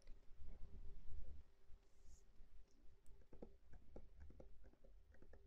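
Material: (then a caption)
Plastic. A medium plastic cosmetic bottle with a silver cap, filled with pink liquid, is held in the hands and tapped rapidly with fingernails. Soft, quiet clicks and dull taps come in quick runs over a low, muffled rumble, growing sharper and more distinct toward the end.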